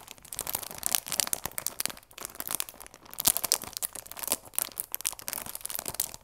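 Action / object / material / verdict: scrape / cardboard tea box in plastic film / plastic film / none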